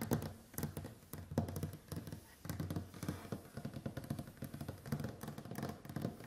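Long white-painted acrylic nails on both hands tap and drum on a large, solid, varnished wooden tabletop. Quick, dull, low knocks and clicky taps come in rapid irregular bursts, each dying away almost at once with a woody thud around 150 Hz.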